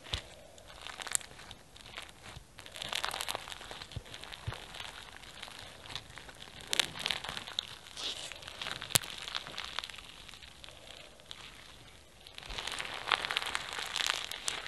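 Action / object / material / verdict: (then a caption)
scrape / foam bead slime / foam beads / none. A small mass of pink foam bead slime (floam) is folded and squeezed into a tight ball by fingers, giving off dense, bright crunchy popping and crackling. The crackles come in bursts, ease briefly near the end, then pick up again with sharp pops.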